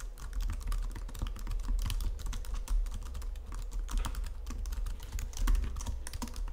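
Fingertips with long nails type rapidly on a white plastic Logitech full-size keyboard under green lighting. A dense, steady stream of quick, short plastic key taps and clicks sits over a constant low hum around 62 Hz.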